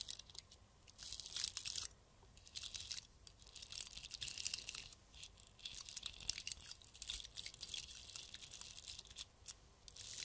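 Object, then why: Glass-bead-covered Christmas bauble. A round, hollow Christmas bauble covered in small gold glass-like beads, with a metal cap, is held in both hands and scratched with fingertips and nails. It makes soft, bright, crunchy crackling in dense bursts, with short pauses between them, and almost no low end.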